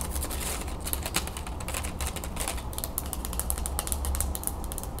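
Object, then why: Wooden folding fan with thin slats. Long nails flick and scratch across the thin perforated slats of an open wooden folding fan, then fold the fan closed. A rapid run of light, bright clicks and dry scratches rides over a steady low hum throughout.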